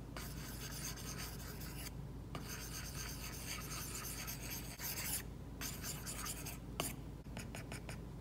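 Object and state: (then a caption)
Stylus strokes on a matte-film-covered tablet glass screen. A plastic stylus tip makes quick, repeated hatching strokes across an iPad's glass screen covered with a matte plastic screen protector while painting hair. The sound is a steady, bright, papery scratch and rub with brief pauses between bursts of strokes. A few sharper taps come near the end.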